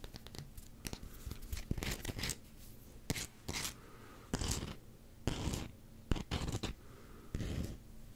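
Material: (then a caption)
Rubber. Short fingernails scratch and tap quickly on a solid black rubber hockey puck with a Canucks logo. Sharp dry clicks alternate with brief bursts of bright, rasping scratching, over a faint steady low hum.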